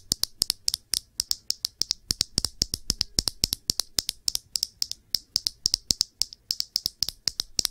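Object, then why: Small glass perfume bottle. Long nails tap quickly on the glass body of a small glass perfume bottle with blue liquid and a blue cap, held in the hands. About fifty sharp, bright clicks come in a steady, rapid run, each dying away almost instantly with very little low end.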